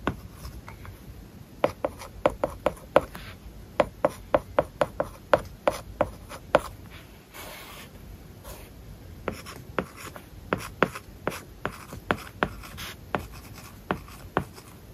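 A plastic stylus writes words on an iPad lying flat, its glass screen covered with a matte plastic paper-like film, scratching and tapping the surface. Quick, dry ticks with a mid-pitched click sound in a steady series, over a soft, continuous scratchy rub. The ticks pause for a stretch in the middle, leaving mostly quiet scratching, before they resume.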